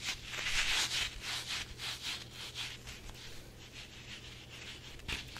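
A red rubber chili pepper squishy toy with a green stem and eyes, soft and hollow, is rubbed and squeezed with the fingers, then stretched and dangled. Bright, hissy rubbing strokes repeat at an uneven pace, loudest in the first second, with a low steady hum underneath and a sharper sound near the end.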